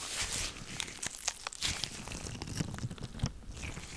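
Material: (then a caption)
Latex. White latex gloves worn on both hands are rubbed and squeezed together close to the microphone. The result is a steady bed of bright crinkling with sharp crunchy snaps and soft low thumps scattered throughout.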